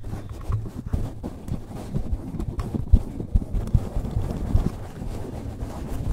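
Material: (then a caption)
Foam. Fingertips scratch and rub the surface of a large dark-grey open-cell foam windscreen covering a handheld microphone, held in one hand at chest level. The result is a dense, muffled low rumble of scraping and rustling with irregular soft thumps, lacking any bright or high content.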